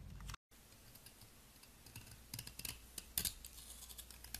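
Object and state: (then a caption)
Soap ball scraped with a blade. A palm-sized, solid, round blue soap ball held in the fingers is scraped with a metal utility blade, shaving off powdery flakes. Quiet, crisp scraping and clicking ticks come in a quick, uneven run, with brighter bursts toward the end over a low background hum.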